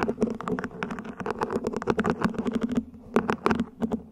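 Long nails scratch and tap along the ribs of a small, hollow, mint-green ribbed plant pot, probably plastic, set upside down. A rapid run of short, dry clicks and scrapes carries a hollow low-mid tone; it eases into a brief lull near the three-second mark, then resumes in a few brighter bursts.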